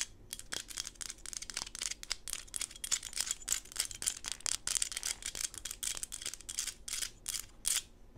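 A small solid PVC plastic Smurf figurine, held upside down and sideways with glitter on the table, is scratched and rubbed with long pink acrylic nails. The result is a quick run of dry, bright scratching strokes with hardly any low end, each stroke stopping at once without ringing.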